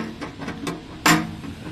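An uncirculated dragon-design silver hao coin is tapped, giving a few light clinks followed by a louder, brighter strike with a short ring. The ring is judged to indicate a silver content above 80%, consistent with a genuine silver coin.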